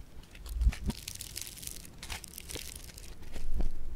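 A solid lump of blue polystyrene-bead foam clay (floam) is pressed and squeezed against a table with fingertips and thumbs. Dense crackling and crinkling pops come through, with soft low thumps as it is pressed, growing louder toward the end.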